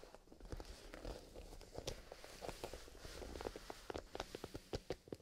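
A small, soft black grained-leather pencil case with a metal zipper, possibly holding pencils, is held in both hands by fingertips in fingerless gloves and squeezed and rubbed along its sides. The result is quiet leathery rustling and creaking, broken by a scatter of short, sharp clicks and taps that grow more distinct toward the end.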